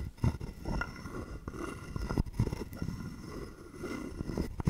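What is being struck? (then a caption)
Carved wooden frog guiro with wooden stick. A wooden stick is scraped along the ridged back of a hollow carved wooden frog guiro held in the hand. It makes a series of short, dry, rasping scrapes that are mostly low and woody, with little brightness and almost no ring after each stroke.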